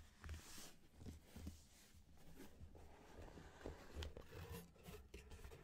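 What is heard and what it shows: Fingertips and short nails scratch and rub across the printed lid of a closed, medium black Loot Crate cardboard shipping box (Rewind, January 2015), which sounds hollow. The result is a quiet, steady, low-heavy scraping and rustling with soft dull thumps. By the end, the box is tilted or being lifted open.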